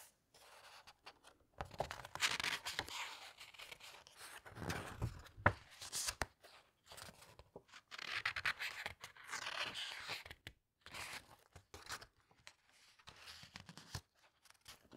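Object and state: Hardcover book pages being turned.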